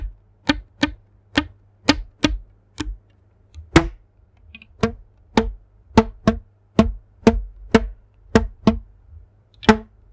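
A thin yellow elastic rubber band, stretched between two hands in front of a microphone, is plucked with the fingertips about 18 times. Each pluck gives a short, dry twang around 330 Hz that dies away almost at once, at an uneven pace with brief silences between plucks.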